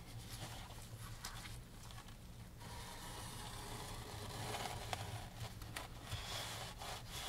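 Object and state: Framed canvas painting being wiped.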